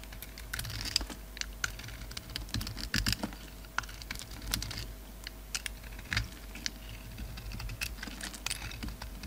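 A utility knife blade scrapes crumbly flakes off a solid oval bar of soap with a dark red rim and a black glittery core, held in the palm. The clip is a steady run of short, dry, crisp scratching ticks, bright and irregularly spaced. They sit over a low rumbling background and a faint steady tone.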